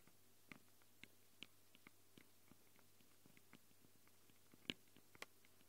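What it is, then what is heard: Metal microphone capsules on a handheld recorder, tapped with fingernails. Long glitter nails tap and scratch the metal mic capsules of a small black handheld Tascam recorder. Quiet, irregular, sharp clicks and short scrapes sound bright and dry over a low steady hum, and the loudest tap comes near the end.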